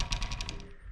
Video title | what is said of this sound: Why I have switched to Campagnolo Super Record EPS | if I just tap the bike here, you can hear that rattling a little bit